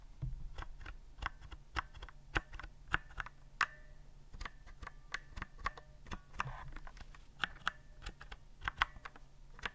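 A white plastic typewriter-style keyboard with round keycaps is held upright while fingertips press the keys slowly. About 28 short, sharp clicks and clacks are heard, some with a brief metallic ring near 1 kHz, over a steady low hum.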